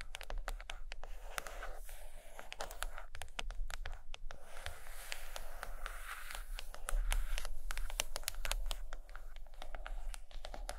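Long green nails tap and scratch quickly on the cover of a large, solid purple hardcover book resting on a blanket. The result is a dense, irregular stream of sharp, bright clicks and scratchy scrapes over a steady low hum.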